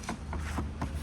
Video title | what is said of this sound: Old Ford Endeavour - Detailed Ownership Review - Ford Ki Dusri Hummer Thi Ye 😱 Sorry #fortuner | आपको फर्क दिखे जाएगा इसमें और आवाज से पता चल जाएगा